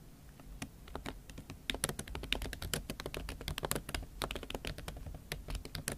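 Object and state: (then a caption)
Laptop keyboard with silicone cover. Rapid typing with fingertips and nails on a MacBook Pro keyboard covered with a pink silicone skin. Quick, dry clicks and taps with bright edges over a soft low thud from the keys, with no ring after each stroke.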